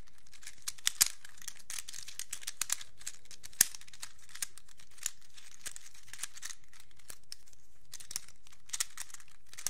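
A small black plastic hinged fidget cube, an infinity cube, is folded and unfolded with the fingertips, its plastic blocks clicking together. Many short, sharp, bright clicks sound at an irregular pace over a quiet crinkly rustle, each one dying away almost instantly.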